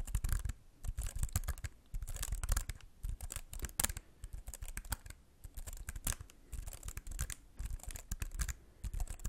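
Fingertips tap and lightly scratch the plastic keys of a slim white computer keyboard held close to the mic. Quick bursts of soft, dry clicks and scratchy rustles arrive in clusters with brief pauses, carrying a low thump underneath and bright clicky edges that die away at once.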